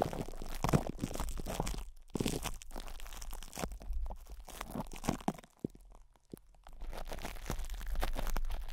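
Fingertips scratch and rub plastic cling wrap stretched over a hollow metal microphone grille, with hands moving around the sides. Dense crinkly crunching and rustling dominate, heavy in low rumble, with brief quieter pauses near 2 seconds and between about 5.5 and 6.8 seconds before the rubbing resumes.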